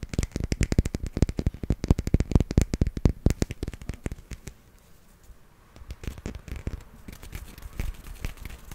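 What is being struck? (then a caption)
Small plastic toy figurine. Fingernails tap and scratch quickly on a small, solid grey plastic hippo figurine held in the hand. A dense run of sharp, dry clicks with a low, thudding body lasts about four seconds, then falls to a near-quiet pause. Softer, scattered tapping and scratching picks up again toward the end.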